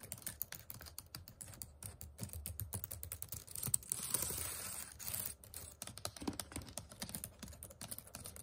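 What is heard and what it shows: The plastic keys of a white HP laptop keyboard are typed rapidly with fingertips and nails, producing a quick run of short, dry clicks and taps with bright edges and soft low thumps. Around the middle the clicking gives way briefly to a steadier, bright rustling sound before the rapid typing resumes.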